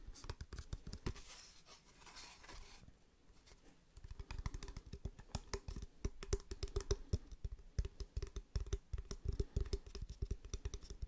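Fingertips tap on a wooden object in a quiet, close setting, giving quick, dull, low thuds that die out almost instantly. The first few seconds are softer, with a light scratchy hiss between taps. After that the tapping turns louder and faster and keeps up in busy, uneven bursts.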